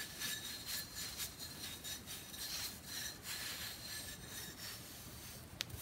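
Fingertips and nails scratch and rub the flat faces and grooved edge of a hand-sized, solid, flat rectangular pressed-powder bath bomb brick held in both hands. The result is a dry, gritty, bright rasping in quick, uneven strokes, with a short sharp tick near the end.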